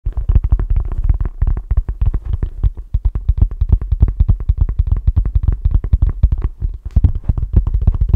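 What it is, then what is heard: Paperback book. Fingertips tap steadily and quickly on the cover of the paperback book 'A Walk in the Physical,' held upright in both hands as a solid block of paper. Each tap is a deep, bass-heavy thud centered low around 60 Hz that dies away almost instantly, with no ring or high-end sparkle.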